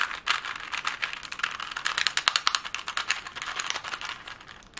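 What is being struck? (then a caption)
Plastic puzzle cube. A plastic Rubik's cube is tapped and twisted fast with long glittery nails. The result is a rapid, dense stream of sharp plastic clicks and clacks, bright and crisp, with almost no low end.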